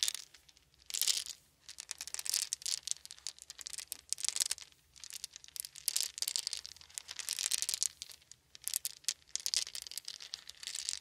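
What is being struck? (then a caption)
Small round wooden beads. Hands scoop small, round, solid wooden beads from a blanket into cupped palms, then roll and shake them so they clack together. The result is bursts of dense, bright rattling and clicking, almost entirely high-pitched with no low end, separated by brief quiet pauses.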